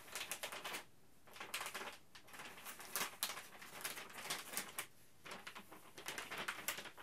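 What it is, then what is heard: Thin plastic bag being crinkled. A thin, flexible printed plastic Ziploc Zip'n Steam retail bag is crinkled and flexed in both hands and tapped with the fingertips. Bright, crackly crinkling comes in dense bursts of quick rustles and taps, broken by brief quiet pauses near the one- and five-second marks.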